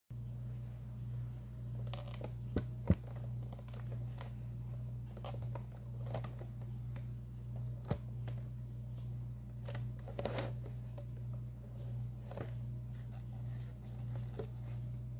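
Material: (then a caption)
Cardboard. Fingertips and long nails slowly tap and trace across the front panel of a hollow Vanilla & Almond cereal box made of thin printed cardboard, held close. Soft scratchy brushing is broken by a few sharper taps, over a steady low hum around 90 Hz, with no talking.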